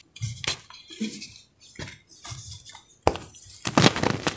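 A white, roughly fist-sized chunk of compressed cornstarch gym chalk is held in both hands over a pile of chalk powder and squeezed and crumbled with the fingertips and thumbs. Short, dry, crunchy snaps and bright powdery crackles come in quick irregular bursts, with brief quiet gaps between them. The block breaks apart into crumbling pieces.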